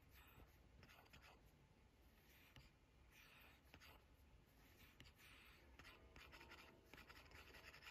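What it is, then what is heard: Stylus on glass tablet screen. A hard plastic stylus tip taps and scratches across the flat, solid glass touchscreen of an 11-inch iPad Pro while drawing and selecting brushes. Soft, bright scratchy strokes run continuously, broken by sharp little taps, over a low background rumble.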